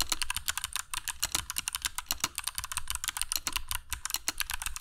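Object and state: Mechanical keyboard with plastic keycaps.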